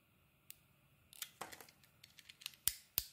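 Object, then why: Bar of soap. A steel box-cutter blade shaves and scrapes the surface of a solid green and blue bar of soap held in the hand. Quiet, bright scratching and crisp shaving strokes come in an uneven series, ending with two sharper, louder scrapes.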